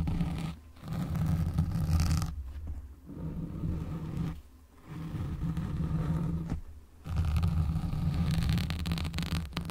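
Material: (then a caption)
Foam. Fingertips and nails scratch and rub a black foam windscreen on a microphone, producing a dense, low rumbling scrape. Bursts of scratching alternate with brief quieter pauses.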